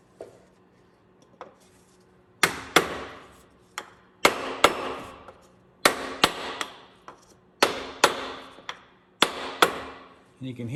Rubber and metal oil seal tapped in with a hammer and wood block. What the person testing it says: the sound changes there when it's fully seated